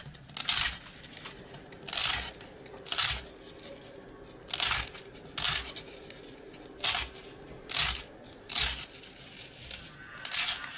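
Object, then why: Long dry rusk stick. A box-cutter blade slices a long, cylindrical, dry rusk stick held in the hand into rings and scrapes it. Nine separate bright, crunchy bursts of cutting and crumbling come at uneven intervals, with a faint hiss between them.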